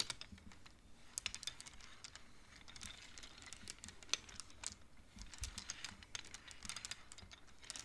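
Fingertips and nails push colored wooden beads along the metal rods of a large wooden-framed abacus. The beads make quiet, bright, short clacks in quick, irregular runs, each one dying away almost instantly.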